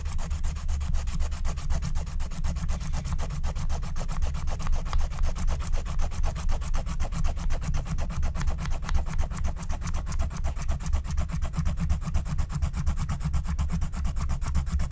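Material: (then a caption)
Waxed card. A pointed wooden stylus scratches the black wax coating off a thin, flat Care Bear scratch-art card lying on a table while the other hand holds the sheet down. Quick, rough scratching strokes repeat at about four per second with no pause, forming a steady, dry rasp over a heavy low rumble.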